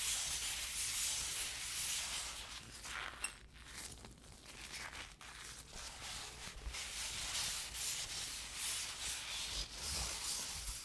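A latex-gloved hand rubs and scratches with flat fingers and fingertips across a large, flat, empty, crinkled brown kraft paper bubble mailer lying on a black desk. The result is a continuous, bright, papery scratching and rustling that swells and fades in uneven strokes, with a brief dip in the middle.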